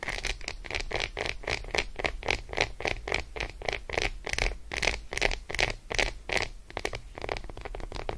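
Long acrylic nail tips on curled fingers rapidly scratch and tap the surface of an unwrapped solid Roshen milk chocolate bar resting on fur. The result is a fast, irregular run of short, bright, dry clicks and scratches centered near 2 kHz, each dying away almost at once, over a low background rumble.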